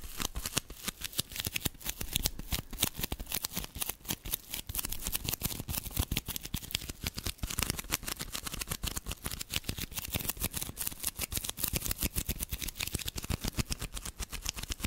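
Long manicured nails scratch rapidly across the textured, sparkly surface of a small rectangular block of soft black glitter foam sponge, held in both hands close to the microphone. The result is a steady stream of dense, dry, crackling scratches with bright, hissy highs and a soft low thump beneath, each tick dying away almost instantly.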